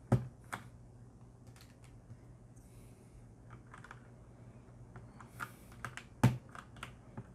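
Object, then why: Mechanical keyboard with plastic keycaps. A hand presses the keys of a black mechanical keyboard with a metal plate and plastic keycaps, some keycaps removed to show red switches, using its fingertips. Scattered, sharp key clicks sound over a quiet background with a steady low hum, and two clicks stand out louder than the rest.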